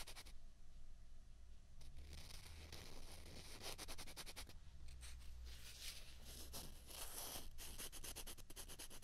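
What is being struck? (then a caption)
Two plastic ping pong balls. Two small hollow white plastic ping pong balls are scraped and rubbed against each other in the hands. It makes a quiet, continuous, dry scratching with bright hissy bursts over a steady low hum.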